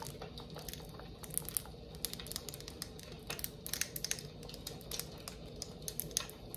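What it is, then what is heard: Glass candle jar. A clear glass jar candle filled with white wax, with a metal lid and a label, is tapped and scratched with long acrylic nails. Quick, bright clicks and taps come in irregular clusters over a soft, steady background hiss, each dying away almost instantly.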